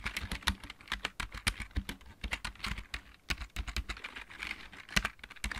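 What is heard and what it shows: A backlit plastic computer keyboard with mechanical keys is typed on with the fingertips of both hands. It makes a fast, steady run of short, sharp clicks with a low thock under each press and no ring after.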